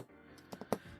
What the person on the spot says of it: you can hear I'm tapping on an actual wood board that's about the same size